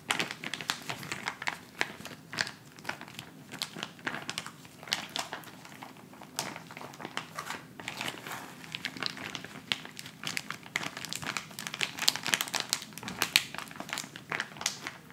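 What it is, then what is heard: Plastic instant cold pack. A handheld white plastic instant cold pack pouch is crinkled and scratched with fingertips. The result is a steady, bright, dense crackle of crinkling plastic with sharp little snaps and almost no low end.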